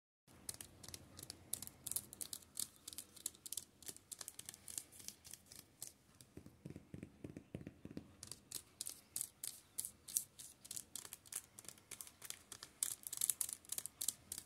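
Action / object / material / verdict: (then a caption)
scrape / paperback books in thin plastic wrap / plastic film / none. Fingertips and nails scratch and rub across the spines of a row of about 24 paperback manga volumes, each sealed in thin plastic film and lying on a table. Dozens of quick, bright, crinkly scratches fall in a steady, uneven rhythm. A stretch of softer, lower rubbing comes midway before the sharp plastic scratching returns.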